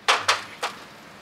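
Two pieces of nearly mature dried bonito are knocked together three times, giving short, clear, metallic clacks with bright ringing tone around 1.1 kHz that fades quickly. The sharp, hard ring shows the fish is properly dried and close to maturity.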